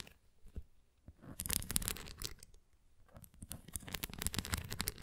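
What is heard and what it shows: Long nails scratch over the nubs and rim of a large, flat, red translucent plastic flying ring toy with a nubbed center cross and an open frame. The result is dry, bright scratching in quick, uneven bursts with a low tapping rumble beneath. It comes in two louder stretches separated by a quieter pause.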